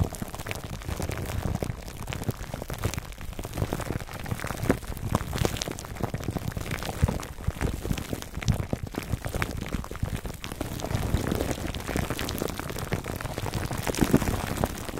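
Fingertips of both hands scratch clear cling film wrapped over a black foam microphone windscreen. A dense, continuous crackling and crinkling fills the clip with rapid overlapping clicks over a heavy, low rumble. The level stays fairly steady throughout.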